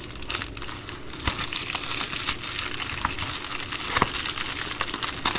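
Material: Plastic.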